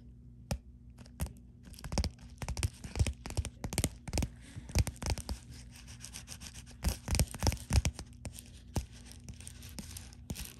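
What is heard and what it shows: Long glittery and dark fingernails scratch and tap quickly over the bubbles of a white bubble-textured plastic poly mailer. The result is bursts of crisp, crinkly scratching and sharp taps over a steady low hum.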